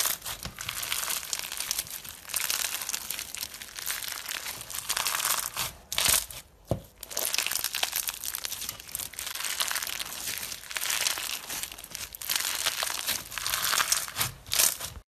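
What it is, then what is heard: Fishbowl bead slime. A hand-sized lump of clear pink slime packed with plastic fishbowl beads is stretched, pressed with the thumbs and squeezed between both palms. It makes dense, bright crinkling and crunching crackles that run almost continuously, with brief quiet gaps near the middle.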